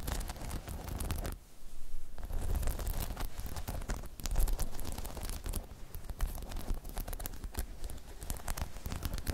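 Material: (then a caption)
Rubber. Long chrome nails scratch and tap the spikes of a hollow, spiky rubber half-dome balance pod. It makes a dense, continuous run of scratchy, rustling taps with a heavy low thump underneath, broken by a brief quiet moment early on.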